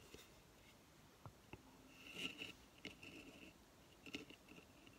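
Long fingernails scratch and tap a hollow coconut shell hamster hideout with paper bedding inside, resting on a table. Quiet, dry scratching and crackling are broken by short, sharp taps that carry a bright, hollow tone around 2.8 kHz and die away almost at once.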